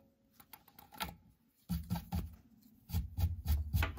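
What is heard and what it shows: A metal pointed tool held in the fingers scrapes and digs at a knot hole in a solid pine 2x4-style workbench beam to remove the knot. About ten irregular scraping, knocking bursts are heard: faint at first, then louder and heavier from midway. The sound is dull and low, with brief bright scratchy edges and little ring.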